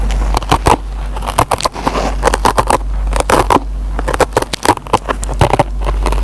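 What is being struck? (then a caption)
Foam kitchen sponge with nylon scouring pad. A metal pen tip picks and scratches at the fibers of a dry yellow foam kitchen sponge with a green nylon scouring pad. It makes a rapid series of short, dry, crackling scratches and snaps over a steady low hum.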